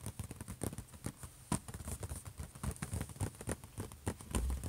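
Fingertips and short nails on both hands tap and scratch the closed lid of a silver HP laptop. Quick, irregular taps with short, dull, low-heavy thumps mix with faint bright scratchy rasps, ending in a slightly louder burst of rubbing.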